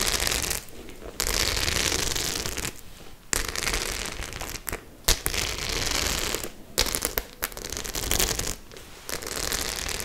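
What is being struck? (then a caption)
Faux-leather clutch bag with metal studs. Long nails scratch across the rows of metal studs on a white faux-leather clutch bag held up in the air. Bursts of dense, bright scratching and crackling alternate with brief quiet gaps, and a few sharp clicks stand out along the way.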